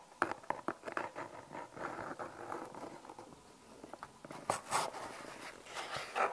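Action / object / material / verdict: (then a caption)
tap / small cardboard box / cardboard / none. A small, hollow brown cardboard product box with unseen contents is held in both hands and tapped with long painted fingernails. Sharp, dry, hollow clicks come in quick bursts, with a soft scratchy rustle of nails across the cardboard in between. The sound sits mostly in the mid range and has very little low end.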